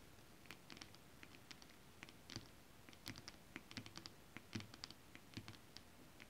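Long acrylic nails tap and scratch a flat holographic mermaid scale-print fabric. Soft, irregular taps and brief scratchy strokes come as short bright clicks over a faint low patter, with no ring after each touch. The whole passage stays quiet.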